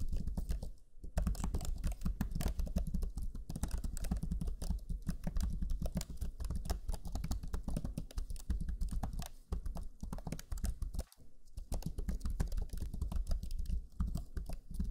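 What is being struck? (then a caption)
Plastic laptop chiclet keyboard. Fingertips of both hands type rapidly on the black plastic chiclet keyboard of a Lenovo Legion 5 laptop, whose low-profile plastic keys give a dense stream of short, dull taps. The clicks run almost continuously with brief pauses near the start and around eleven seconds. Each tap dies away almost instantly.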